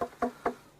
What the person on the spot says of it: it's wooden it's not a rock